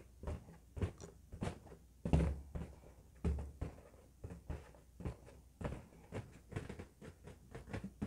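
A large, hollow, air-filled red latex balloon lit by an LED is held in both hands and tapped and rubbed by fingertips and painted nails. About twenty soft, dull, low thumps come at an uneven pace, each a muffled boom that fades quickly, with faint rubbing sounds between the taps.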